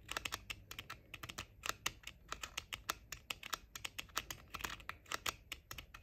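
Short painted nails tap rapidly on the flat outer shells of pink plastic JBL over-ear headphones, with the ear cups held close together. The result is a fast, uneven stream of crisp, bright plastic clicks centered around 2.8 kHz, each dying away almost instantly, with very little low end.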